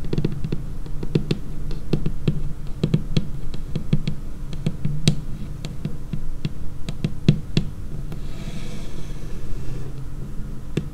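Long painted nail tips tap rapidly and irregularly on a large, solid, dark laminated tabletop. Each tap is a short, dull knock with a low body and a brief click on top, dying away almost at once. Toward the end, a soft, bright scratchy hiss briefly rises between the taps.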